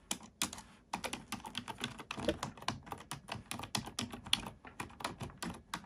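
Both hands type on a black plastic computer keyboard with fingertips and nails, giving a steady run of quick, bright plastic clicks and taps. Each keystroke is short and dry and dies away almost instantly, with brief pauses between bursts of typing.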